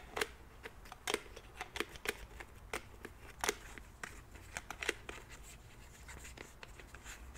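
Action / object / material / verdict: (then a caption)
tap / plastic pump bottle / plastic / none. Fingernails tap and click on the pump cap and body of a white plastic cleansing milk bottle. The result is an irregular series of short, sharp plastic clicks with a bright edge and a hollow tone around 440 Hz, each dying away almost instantly over a quiet background. The taps grow softer and more scattered toward the end.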